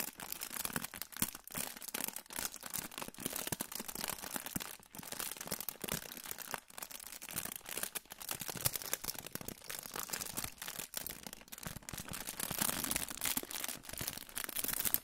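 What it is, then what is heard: Aluminium foil pouch. A hand-sized, crinkled silver aluminium foil pouch is held up and crinkled between the fingers. It makes a dense, continuous stream of sharp, bright crackles and rustles that stays at a fairly steady quiet level throughout, with little low-end weight.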